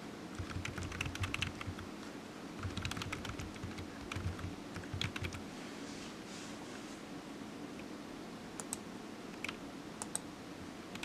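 Fingertips of one hand tap the keys of a solid, black, low-profile plastic computer keyboard resting on a desk mat. Quick bright clicks with soft low thumps come in dense bursts over the first five seconds, then thin out into scattered single taps. Each click dies away almost instantly.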